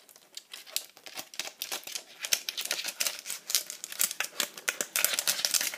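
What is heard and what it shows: A hollow pink plastic iPad cover is held and tapped quickly with long acrylic nails on its flat back and perforated edge, on fingers wearing rings. The result is a rapid, uneven stream of sharp, bright, crinkly clicks with almost no low end and very short decay.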